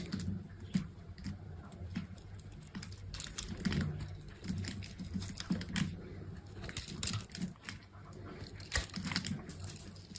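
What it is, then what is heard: Soap bar being cut. A hand-sized solid bar of green soap, held in the hand, is scored into a grid and cut into small cubes with a small metal knife with an orange handle, with soap shavings falling onto a dark mat below. Quick, crisp carving and scraping ticks and bright clicks repeat steadily over a soft, low, muffled bed.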